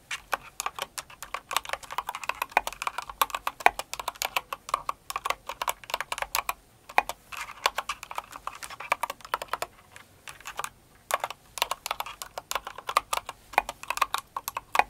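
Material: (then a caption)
Plastic. Both hands with long acrylic nails type on a Cinnamoroll kawaii mechanical keyboard with plastic keycaps. Fast, sharp, clicky clacks with a bright plastic tap roll steadily, broken by short pauses near seven and ten seconds.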